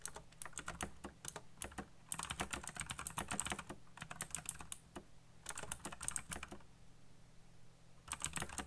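Fingertips type fast on a black backlit mechanical computer keyboard with plastic keycaps, producing rapid bursts of sharp, bright clacks with a low thud beneath each press. The typing runs in dense flurries separated by short pauses, with a longer quiet gap near the end before a final burst.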